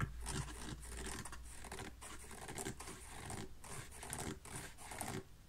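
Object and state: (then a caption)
Kids' canvas slip-on shoe being scratched. Fingernails scratch the printed canvas upper and the insole of an empty small kids' textile slip-on shoe with an elastic band and rubber sole. The result is a steady, dry, raspy scratching with bright fabric hiss over a low rumble, broken by a few brief pauses.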